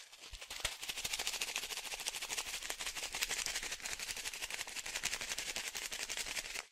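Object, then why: Plastic pouch of fish food pellets. A small plastic fish-food pouch, partly filled with dry pellets, is held in one hand and shaken quickly. The pellets make a dense, bright rattle mixed with crinkling plastic that runs steadily for about seven seconds before cutting off.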